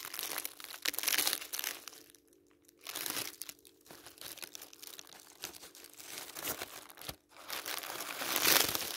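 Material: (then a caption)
Paper. Fingertips press and rub the top of a stack of thin white tissue paper sheets lying on a patterned table, then lift and crinkle the sheets. The result is a bright, airy crinkling and rustling in irregular bursts, with brief near-silent pauses early on and around the middle. It ends in its loudest crackling burst near the close.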